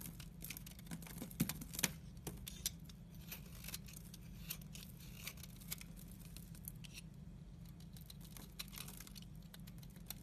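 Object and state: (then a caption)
Dry, crumbly soap bar. A utility-knife blade scrapes across a solid, dry teal soap bar, shaving off crumbly dry flakes. Quiet, rapid, irregular scratchy crackles and bright ticks sit over a steady low hum, with a few sharper snaps near the start.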